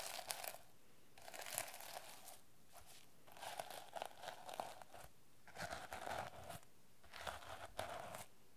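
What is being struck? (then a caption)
Plastic sequin-covered notebook cover. Long nails and fingertips brush and scratch the plastic sequins on a teal sequin-covered notebook cover held in the hands. The result is quiet, dry, crinkly scratching with a bright edge and a steady mid-range rasp, arriving in short bursts separated by brief near-silent pauses.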